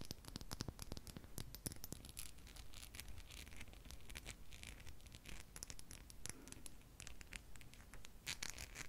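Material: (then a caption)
Crystal glass. A small, solid, clear crystal seahorse figurine held in the fingers is tapped and scratched with long pink nails. Quick, irregular clicks and taps mix with dry scratching and scraping, with short bright ticks over a low, close-up rumble.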